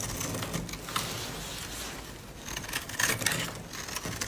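A utility-knife blade scrapes and carves thin flakes off the surface of a solid, dry, palm-sized pink bar of soap held in the hand, while a white soap bar sits untouched on the table. Dry, bright scratching rasps come in short uneven strokes, with crisper flaking ticks standing out near the end over a faint low rumble.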